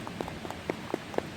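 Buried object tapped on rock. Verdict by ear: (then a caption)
Hollow. A buried object that is not a stone, resting on a hard rock, is tapped about five times, giving short, dry knocks with a hollow tone around 465 Hz that die away almost instantly. The object is hollow inside and said to hold a poisonous substance, so it is left unopened.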